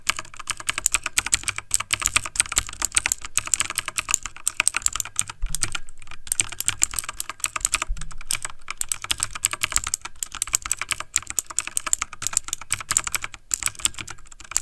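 Fingertips of both hands type fast on a backlit plastic mechanical computer keyboard, producing a dense, steady stream of sharp, bright key clicks. Each tap is short and dry with almost no ring, and the flurry continues with only brief dips for about fifteen seconds.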